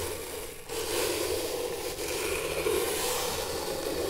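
A bristle brush is rubbed over the sole of an antique leather shoe held upright on a table, sole facing out. It makes a steady, dense scratchy rustle with bright hiss and a band of mid-range grit, briefly dipping near half a second and two seconds before resuming.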